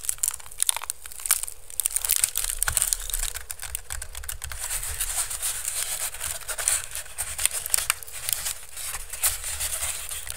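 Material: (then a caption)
Bamboo. Fingertips and nails scratch and rub the woven strips of a hollow, empty pink woven bamboo basket held over the mic. The result is a steady, dense run of dry, crinkly scratching with a bright, hissy edge, carried over a low, thumping rumble.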